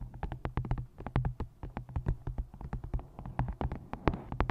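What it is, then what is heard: Paperback book cover tapped with nails. Long nails tap and scratch the card front cover and edges of a paperback book. A rapid, uneven run of short, dry taps, each dying away almost at once, mixes with brief scratchy strokes over a steady low hum. The sound stays mostly low and close, with quick clicks carrying faint bright edges.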